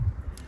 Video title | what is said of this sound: Discovering and Uncovering the GOLD! Antique Mirror Restoration | I can hear it it's Hollow yeah it's got that Hollow sound